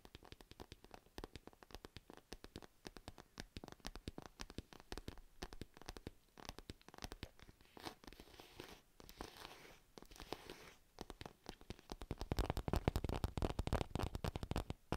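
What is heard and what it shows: Long nails scratch and tap on a purple padded fabric cat pencil case held close to the mic. The result is a quiet, rapid, irregular stream of dull, short scratches and taps, weighted toward low frequencies. The sound grows louder and denser over the last few seconds.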